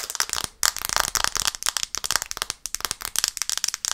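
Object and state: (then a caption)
Glass phone screen tapped with nails. Long nails tap rapidly on the glass screen of a black smartphone held in both hands, first sideways and then upright. The result is a fast, uneven stream of sharp, dry, bright clicks with almost no low end and no ring after each tap.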